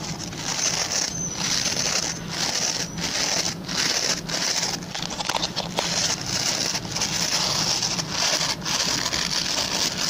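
Fingertips and short nails scratch the plastic pin bristles of a hand-sized oval white plastic brush. The result is a steady, bright, hissing rasp that briefly dips in repeated short strokes, over a faint low hum.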